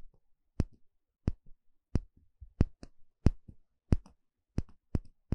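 A small, shallow, empty bamboo bowl held in one hand has its inner surface poked and scratched with a thin plastic pick. Eleven sharp, dry clicks ring out at an uneven pace, each dying away almost instantly. Softer, low scratchy rustles fill the gaps between them.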